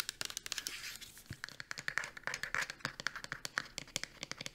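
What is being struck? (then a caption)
Plastic shampoo bottle. A pink plastic shampoo bottle, held upright and then sideways, is tapped quickly on its side with long nails. The taps are short, bright, hollow clicks with almost no low end, coming in a rapid, uneven stream with some faint crinkly scratching between them.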